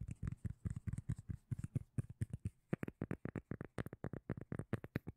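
Long manicured nails scratch and tap the surface of a flat, solid, palm-sized round cork lid held in front of the microphone. About thirty short, dry, deep thumping taps come in quick succession. The later taps sound crisper and brighter, and none of them ring on.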